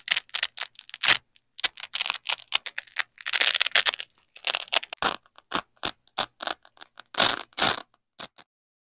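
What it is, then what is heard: Nylon hook-and-loop fastener being peeled. Black-gloved hands peel a yellow nylon hook strip away from black nylon loop strips of a hook-and-loop fastener and press them back together. The result is a rapid series of short, crackly, bright ripping bursts separated by brief silences, with no low-end body. Some pulls are longer and grittier than others.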